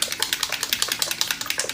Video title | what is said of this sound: QUICK & EASY 5 MINUTE MAKEUP TUTORIAL ¦ Simple Makeup Tutorial | You hear that little agitator in there?